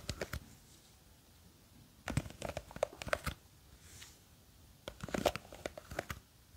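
Long green fake nails scratch and tap the side of a small clear plastic jar full of blue gel beads, gripped from above. Quiet bursts of dry, crinkly scratching clicks come in three clusters, with short pauses between them.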